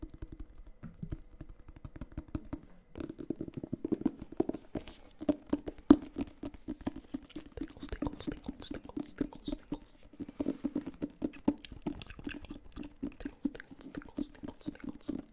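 A hand-sized, solid, closed hardcover paper book is held near the microphone and tapped quickly on its cover with fingertips and nails. The result is a dense stream of short, dry, hollow taps with a low-mid tone and little ring, interspersed with faint, bright nail clicks and scratches.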